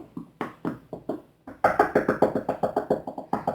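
Knuckles knock repeatedly on a surface named as real wood, for the "knock on wood" superstition. There are 19 short, dry knocks in uneven runs, a few softer ones and then a faster, louder burst. Each is a hollow, woody tap centered near 420 Hz that dies away almost at once.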